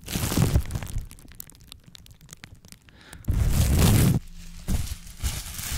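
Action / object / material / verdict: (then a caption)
scrape / plastic bubble wrap sheet / plastic / none. Clear plastic bubble wrap is squeezed and popped with the fingers, giving a rustling start followed by a run of small, sharp pops. The sheet is then spread out and crinkled, making a loud, dense crackling rustle that fades into softer crinkles.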